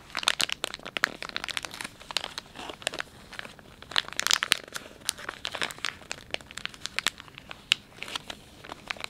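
A filled, palm-sized Dettol wet wipes pouch made of soft plastic film is pressed, bent and crinkled by thumbs. The result is a steady run of bright, dry crinkles and sharp crackles that rise and fall in loudness, with almost no low end.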